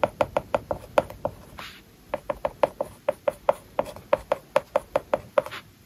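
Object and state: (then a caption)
Stylus writing on a matte paper-like screen film. A hard plastic stylus writes on a large iPad whose glass screen is covered with a matte plastic paper-like film. The result is a brisk run of short, dry clicking taps with a hollow mid-range tone near 590 Hz. It pauses briefly around a soft scratching swipe, then continues in the same quick rhythm.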